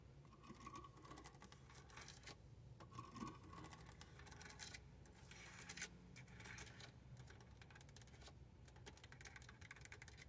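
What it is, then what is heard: Plastic car stereo faceplate. Long painted nails and fingertips tap and scratch across the hard plastic faceplate and buttons of a car radio unit fixed in the dashboard. A steady stream of quick, dry plastic clicks mixes with bright scratchy bursts over a constant low rumble, all at a soft, close level.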